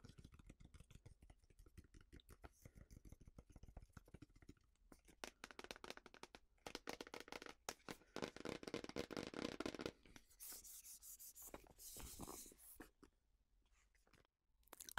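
Long painted fingernails tap and scratch a small printed cardboard box for an oracle card deck, hollow with the cards inside. Quick, light taps give way to denser scratchy bursts, then bright, hissing scrapes across the surface. The taps sound dry and short, with almost no ring.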